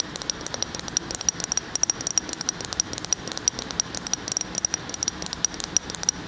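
Fingernails tap and scratch on a full glass jar of tan spread as it moves from one side of the microphone to the other. Quick, uneven, bright clicks with a faint high glassy tick ride over a soft hissy scratching, all dry with no lingering ring.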